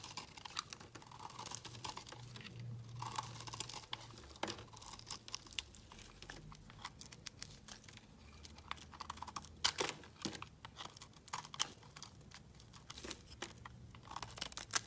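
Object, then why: Bar of soap. A solid, opaque orange soap bar held in the hand is shaved and chipped with a utility blade. Dense, dry scraping and crisp crackling clicks come through bright and high, with short, sharp snaps scattered throughout and a faint low hum underneath.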